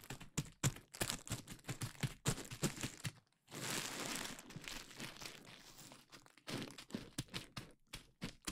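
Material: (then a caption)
Plastic. Long nails and fingertips tap, scratch and pop clear plastic bubble wrap covering a KU100 dummy head microphone, producing quick, sharp clicks and snaps over a low thump. Midway, a sustained, bright crinkling rustle takes over for about three seconds before the crisp tapping and popping resume.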